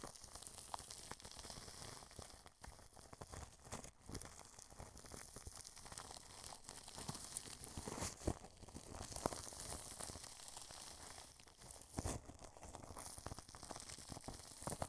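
A wide paintbrush presses and sweeps its bristles across clear cling film stretched over the grille of a white dome microphone. The result is a steady, close crackling and crinkling hiss, like sizzling or soft tearing, with a bright, airy top. Occasional sharper pops stand out, notably near 8 and 12 seconds.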